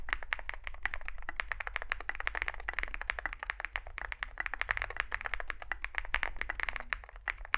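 Fingertips type continuously on a small 65% mechanical keyboard with a dark case and white and grey plastic keycaps, producing a dense stream of short, clacky keystrokes. The clicks are bright and snappy, with most of their energy in the upper mids, over a steady low hum underneath.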